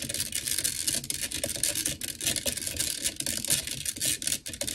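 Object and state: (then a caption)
Metal microphone grille. Long nails on both hands tap and scratch fast on the black metal mesh grille of a blue desktop microphone. A dense, continuous stream of bright, crisp clicks and scrapes is heard, with very little low end and each tap dying away almost at once.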